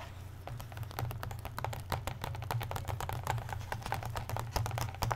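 Fingertips and nails tap and scratch across the marbled blue, red and black paper endpapers of an open hardcover comic book lying flat. The result is a quick stream of dry, crisp clicks and scratches over a steady low hum.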